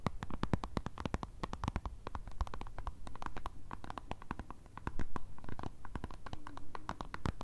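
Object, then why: Plastic squeeze tube of cream. Long red acrylic nails rapidly tap and scratch along the plastic body and cap of a white Nivea squeeze tube, hollow and filled with cream, held in the hands. The result is a dense stream of short, dry clicks and scratchy strokes over a soft, low, hollow thump, with a louder burst of tapping near the end.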